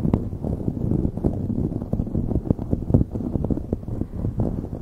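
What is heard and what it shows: Long nails rapidly scratch a light blue knit beanie stretched over a microphone. The result is a dense, continuous low rumbling scratch with quick, muffled bursts and almost no high or bright content.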